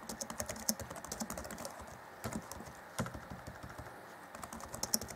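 Fingertips of both hands type rapidly on the black plastic chiclet keys of an Acer Chromebook C20 (2014) laptop keyboard, set in a grey deck. A quick, uneven run of short, dry plastic clicks with bright, high tops comes in bursts, easing off briefly around the two-second and four-second marks. Each keystroke dies away almost instantly.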